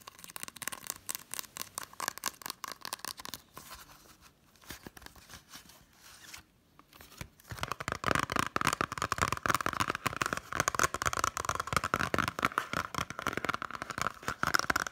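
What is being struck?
Plastic Blu-ray case with cardboard slipcover.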